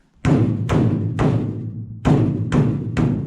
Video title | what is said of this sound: PROJECT CAMARO IS FINALLY A ROLLER | it kind of sounds hollow. You can tell there's something there, but it's just kind of hollow, ringy sounding